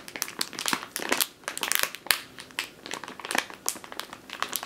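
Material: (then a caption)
Plastic. A full plastic bag of flour resting on a wooden table is squeezed, tapped and scratched with long nails and fingertips. Bright, dense plastic crinkling and crackling comes in quick, irregular bursts, each dying away almost at once, with no low rumble beneath.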